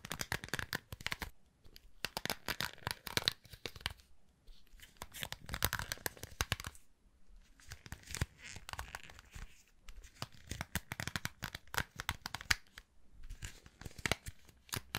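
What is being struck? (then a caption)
Round hair brush with plastic bristles and metal barrel. Fingertips strum and flick the plastic bristles of a round hair brush with a metal barrel close to the mic. The result is bursts of crisp, dry, tearing-like scratchy flicks with bright crackle and little body, coming in rapid clusters separated by brief quiet gaps.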